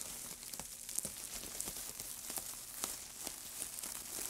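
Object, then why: Pile of thin wood shavings. White-gloved hands press, crumple and rub a heap of thin, dry wood shavings. The result is a soft, bright, continuous crinkling and rustling. Sharp crackly snaps stand out above it.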